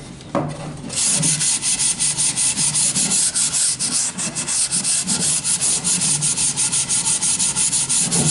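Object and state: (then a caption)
Wooden board being sanded. A long solid wooden plank with nail holes is sanded by hand with a sanding sponge. After a brief quiet start, steady back-and-forth strokes produce a bright, dry scratching hiss in a continuous rhythmic pattern.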